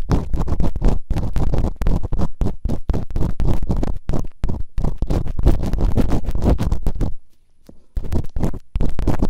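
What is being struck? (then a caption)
Silicone ear models on a binaural microphone, scraped with bamboo picks. Bamboo earpicks held in fingertips with long nails scratch and rub quickly inside the open canals of two soft, solid rubbery silicone ear models on a white binaural microphone. The result is a dense stream of muffled, low, rumbly scratching strokes with almost no brightness, broken by a brief near-silent pause before the rubbing resumes.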